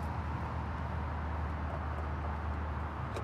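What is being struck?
Nothing is struck.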